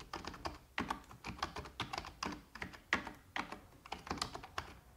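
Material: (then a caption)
Plastic. Long red-painted nails and the fingertips of both hands type continuously on a full-size black plastic computer keyboard with hollow keys. The result is a steady stream of quick, hollow plastic clicks and taps with a bright, clacky edge centered around 1.9 kHz, each stopping almost instantly. Some strokes land harder than others.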